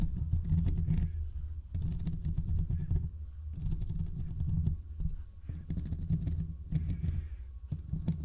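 Fingertips and short nails on both hands scratch the hollow, domed steel mesh grille of a large desktop condenser microphone. The result is a dense, boomy rumble concentrated in the low end, with rapid clustered scraping bursts separated by brief quieter gaps.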